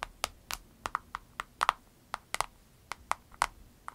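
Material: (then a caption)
Vinyl. Fingernails tap rapidly on an avocado-shaped vinyl case, making 15 short, dry clicks in an uneven, typing-like rhythm. Each tap is crisp and bright, centered around 1.2 kHz, with almost no ring or low end.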